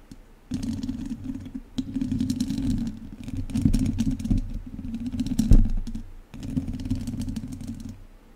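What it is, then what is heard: Metal mesh microphone grille scraped with chopsticks. Two wooden chopsticks scratch the sides of a hollow metal mesh microphone grille, making a dense, rumbling scrape with crackly clicks over a strong low hum. The scratching comes in bursts with brief pauses near two and six seconds, then trails off quietly.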